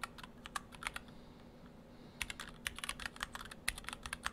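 Fingertips of both hands type on an Orthodox Rev3.1 split ortholinear mechanical keyboard in two halves, with clear acrylic cases, white and cyan PBT dye-sub keycaps, and stock Gateron Brown switches. Short, bright, clacky keystrokes come in quick bursts, with a brief pause in the middle and a low, steady background hum throughout.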